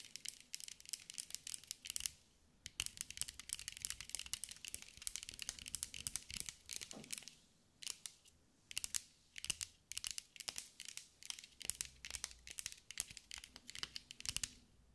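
A green mirror-glass mosaic sphere is held in the hands and tapped and scratched with long acrylic nails. The result is quiet, rapid bursts of sharp, dry clicking and scraping that are almost entirely bright, with no lingering ring, and brief pauses near 2.5 and 7.7 seconds.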